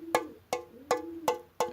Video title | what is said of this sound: Comment décalaminer son pot d'échappement moteur 2 temps | quand je tape dessus, ça fait ting, ting, ting, ting. Et le bruit, il s'atténue tout de suite. Comme s'il y avait de la terre, par exemple, dans le pot